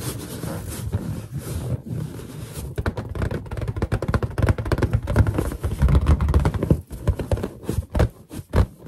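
Fingers rub and squeak on a large, hollow, inflated white latex balloon while long nails scratch its surface. A steady, hissing rub gives way to a dense run of quick, thumpy squeaks and scrapes with a deep, boomy low resonance and little high end. Toward the end the sounds thin out into a few sharper, separate squeaks.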